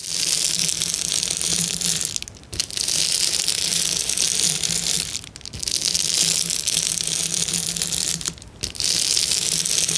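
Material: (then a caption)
Plastic. Fingers and nails rub and scratch quickly across a sheet of clear plastic bubble wrap, making a dense, bright crinkling hiss. A faint low hum sits underneath. The scratching runs in long bursts broken by three short pauses.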